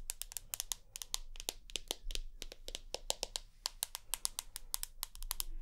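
Long nails tap and scratch across the white glass screen of a rose gold iPhone with an aluminium body, held vertically. A quick, uneven run of sharp, bright clicks with almost no ring sits over a faint low hum, with soft scratching between the taps.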